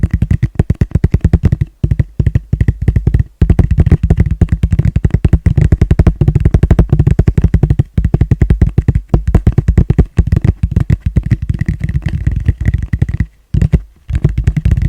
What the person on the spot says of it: ASMR fast gentle tapping on plastic bowl